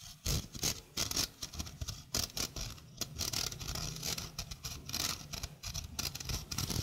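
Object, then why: Stainless steel mesh sink strainer. A small, hollow stainless steel mesh sink strainer is held beside the mic while its mesh is scratched with nails. The result is a rapid, dense patter of bright, raspy scratches with short, dry bursts and a faint low rumble underneath.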